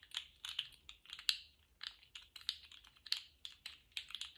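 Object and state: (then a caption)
Plastic articulated slug fidget toy. A small rainbow-striped, jointed plastic slug fidget toy is bent and wiggled in both hands, and its plastic segments click rapidly. The result is an irregular run of short, dry, bright clicks with almost no low end, each dying away almost instantly.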